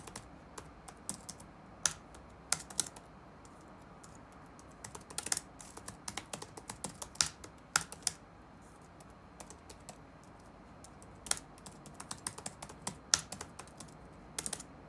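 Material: Plastic.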